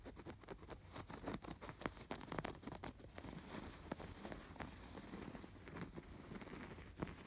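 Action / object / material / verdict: scrape / stuffed canvas pillow with yarn embroidery / canvas, yarn / none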